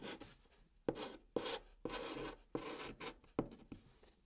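White chalk held in the fingers scratches English and Korean words onto the top of a brown cardboard box. Quiet, dry, raspy strokes start sharply and trail off, with a mid-range grit and a brighter hiss on top, spaced unevenly about twice a second.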